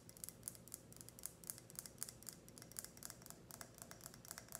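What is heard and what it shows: Long red nails tap and scratch a tall, clear, empty ribbed glass tumbler with a grid pattern, held sideways. Quick, bright, clicky taps come in an uneven rhythm over a soft, high scratching hiss. Each tap dies away almost at once.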